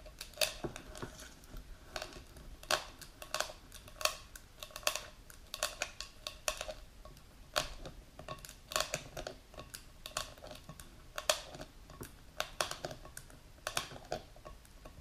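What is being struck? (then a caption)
Plastic jar with plastic lid, filled with powder. A medium plastic supplement jar filled with powder, with a clear plastic lid, is held while its lid and sides are tapped and scratched with long pink nails. Quick, bright plastic clicks arrive in an uneven stream, each dying away almost at once, with a soft, papery scratching between them.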